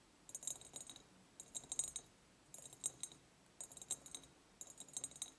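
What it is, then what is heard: Empty ribbed glass jar. Long nails tap and scratch the sides of an empty, ribbed, clear glass jar with a ceramic lid. Five quiet bursts of quick, bright clicks and rattling scratches are heard, separated by short pauses. Each tap stays high and thin, dying away almost at once with little low end.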